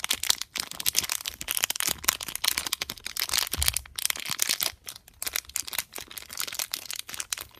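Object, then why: Sealed foil condom wrapper. A small, sealed and filled pink metallic foil Durex condom packet is pressed and crinkled between the thumb and fingertips, rubbing the foil surface. The result is a steady run of bright, crisp crinkles and sharp little crackles, with almost no low end. The crackles rise and fall in short bursts over about seven and a half seconds.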